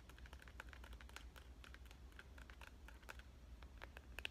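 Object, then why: Smartphone in a clear plastic case. Fingernail tips tap quickly on the surface of a smartphone in a clear plastic avocado case held flat. The result is a steady run of light, dry, bright clicks with no ring, peaking near 2.8 kHz, over a constant low hum.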